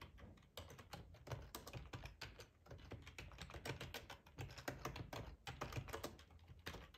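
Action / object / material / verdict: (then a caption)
tap / plastic computer keyboard / plastic / none. Fingertips type on a hollow black plastic ergonomic keyboard with keycaps, tapping the keys in a quick, uneven stream. Each keystroke makes a short, dry click with a soft low thud beneath it and almost no ring. The overall level stays fairly quiet.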